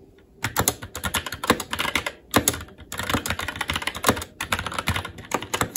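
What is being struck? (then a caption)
Mechanical keyboard with plastic keycaps. Fingertips type on a SteelSeries Apex 7 TKL mechanical keyboard with red linear switches, plastic keycaps and a metal top plate, giving a rapid, uneven stream of sharp, bright plastic clacks with short, dull thocks underneath. The typing starts after a quiet half second and comes in bursts with brief pauses, and the hands shift position near the end.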